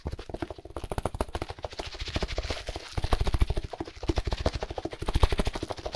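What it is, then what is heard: Plastic-wrapped compressed hay block. Gloved fingers rapidly tap and scratch a plastic-wrapped compressed hay block as it is moved quickly about. The result is a fast, uneven stream of short, dull, low thuds with a faint crinkly scratch on top. The tapping grows louder in bursts toward the middle and end.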